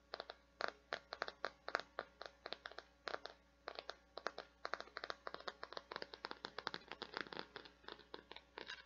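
Long painted nails scratch and tap across a hand-sized, translucent teal plastic or silicone flower-shaped bath scrubby, a thin, flexible, non-hollow scrubber with petals and a white center disc. The result is a rapid, uneven series of dry, crisp clicks and scratchy taps centered around 1.4 kHz with bright edges. Each stops almost instantly over a faint, steady low hum.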